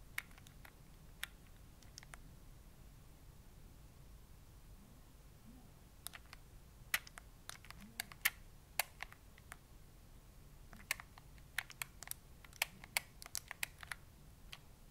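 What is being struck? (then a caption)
Plastic handheld game console buttons. A gray plastic Nintendo Switch handheld game console is held in both hands while the thumbs rapidly press and click its plastic buttons. Short, sharp, bright clicks come in scattered bursts over a faint low background hum, with a mostly quiet stretch early on before the clicking picks up again and grows denser toward the end.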